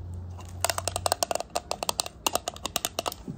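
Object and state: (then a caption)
Hard plastic toy shoe. A small, hollow, translucent pink hard plastic doll-size high-heel shoe is held in one hand and tapped and scratched with long decorated acrylic nails. About twenty quick, sharp, bright clicks with a hollow plastic tone come in irregular bursts, with a brief pause midway. Each tap stops almost instantly with no ring.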